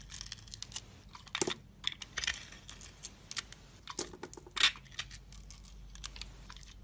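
A utility knife shaves and carves a solid oval soap bar, held in hand, with a pink and white glittery swirl coating and a cream-coloured inside. A rapid series of short, bright, crisp scraping and crunching cuts is heard, with louder crackly slices standing out near the middle and toward the end. Each cut stops almost at once, with very little low-end weight.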